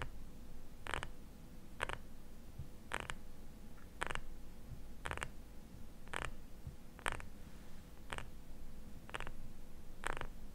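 Fingernails tap and scratch a small labeled glass jar filled with cream, held in both hands. Short, bright clicks and scrapes recur at roughly one-second intervals over a steady low rumble and a faint constant tone near 500 Hz.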